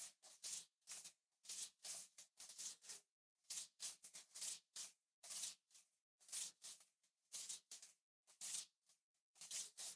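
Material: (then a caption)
Glass. Fingertips tap and brush the glass back of a small black iPhone SE 3rd generation with an aluminum frame, held upright in the other hand. Quiet, bright, hissy bursts of rubbing and scratching come in an irregular rhythm, with brief dry taps and almost no low end.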